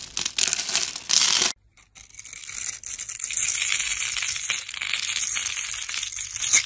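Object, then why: Bar of soap. A solid red bar of dry soap, held in the hand, is carved with a metal blade, its surface scraped and scored into small cubes and crumbs. Bright, crisp crunching and scraping comes in loud bursts, pauses briefly into near silence, then resumes as a steady, gritty scrape to the end.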